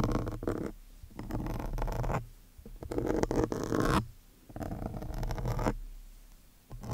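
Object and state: Foam microphone windscreen being scratched.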